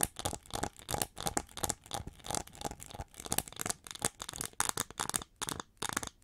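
Long fingernails on both hands scratch the ridged wing sections of the hollow back of a gold-plated plastic winged hair brush held upright by its handle. Quick bursts of crisp, bright, dry scratching and crackling come in uneven rhythm with short pauses between them, and no ring after each stroke.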